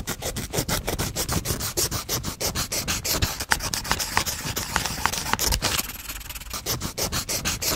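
A wooden pencil tip is scribbled rapidly back and forth across the paper page of a spiral-bound notebook held upright. It makes a dense, scratchy rubbing sound with quick repeated strokes and a bright, hissy edge. The strokes ease slightly near the end.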